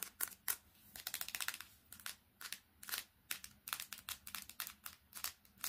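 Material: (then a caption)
Glass, metal. Long fingernails tap fast on the glass screen and metal back of a smartphone, held upright and then laid flat. The result is a quick run of sharp, bright clicks with almost no low end, arriving in dense clusters separated by short pauses.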